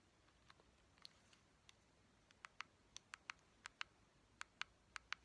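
Long painted fingernails tap a small neon-yellow hard-plastic Joy-Con controller, a hollow shell with buttons and a thumbstick. The sound is sixteen quick, dry, bright clicks with almost no ring, faint and sparse at first, then louder and more regular in the second half over a quiet background.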